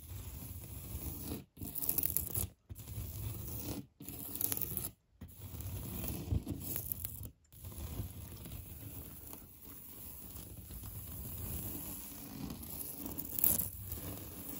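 Fingertips and nails scratch and drag over the raised texture of a solid, beige, knockdown-textured painted drywall interior wall. The result is a continuous, low, rumbling rasp with little brightness, broken into six long passes by brief silences. The final stretch is steadier and softer, with a sharper scrape near the end.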